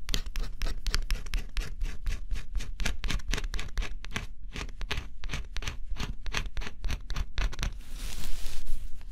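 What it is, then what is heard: Scratch-off coated cardboard jigsaw puzzle being scraped. A small tool held in the fingertips scratches the black coating off a flat, assembled cardboard scratch-off jigsaw puzzle with a forest and bear picture, its thin solid pieces resting on a table. Rapid, short, dry scratching strokes repeat in a steady rhythm, each bright and crisp over a low rumble. The sound ends in a louder, continuous hissing scrape.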